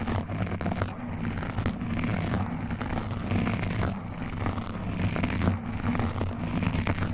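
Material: Foam.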